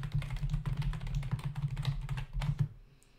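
Fingertips of both hands type rapidly on a full-size black plastic membrane keyboard with hollow keys resting on a dark desk. A dense stream of hollow plastic clicks and taps plays over a steady low hum. The typing stops just before the end, leaving the faint hum.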